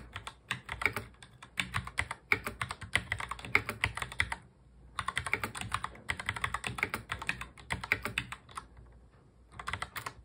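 Fast touch typing on a full-size black plastic mechanical keyboard, the keys pressed by the fingertips of both hands. Bursts of dense, bright clicks with a sharp clack are broken by short pauses, with a quieter stretch near the middle and another shortly before the end.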